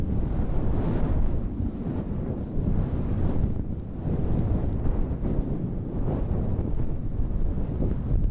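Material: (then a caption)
Synthetic fur. Long red nails rub and scratch the faux-fur windscreen on a handheld black recorder. The result is a steady, heavy low rumble like wind on a microphone, with almost no high content. It swells and eases in slow waves with soft scratchy texture on top.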